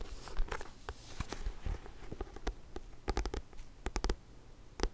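Fingertips and nails tap slowly on the solid, glossy card back cover of a thick paperback book. A series of short, dry clicks and soft taps rings out over a low, muffled background, with a tight cluster of sharper taps near the end.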